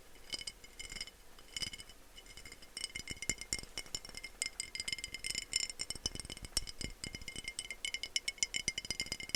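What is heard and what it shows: Fingers tap rapidly on a green textured-glass spray bottle bought for spraying the kitchen counters. Dense, bright glassy clinks and light rattles carry a high ringing tone, and each tap dies away almost instantly.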